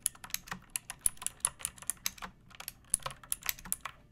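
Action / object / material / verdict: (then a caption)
tap / plastic mechanical keyboard keys / plastic / none. Long painted nails and fingertips type on a pink plastic mechanical keyboard with round backlit keycaps and a hollow body, resting on a wooden surface. About twenty-two quick, bright, clacky keystrokes are heard at an uneven pace, each dying away almost instantly.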